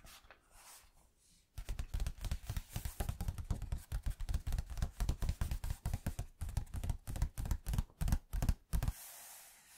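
Fingertips tap quickly on the yellowed paper pages of an old hardback book lying open. After a quiet, faintly hissing start, a rapid run of short, dull, low thuds continues for about seven seconds with almost no ring. It then stops, leaving a soft hiss.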